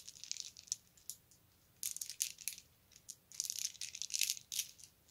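A colorful strand of round plastic beads is handled and dropped into the palm with the fingertips, so the beads rattle against each other. Quiet, bright, high-pitched clicking rattles come in short bursts separated by brief pauses.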